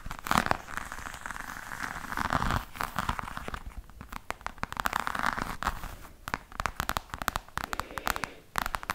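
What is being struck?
Croc-embossed faux leather hard case.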